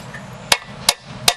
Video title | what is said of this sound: Blown chrysler Early hemi poly timing cover installation new seal install | that sounds solid yeah I'm getting solid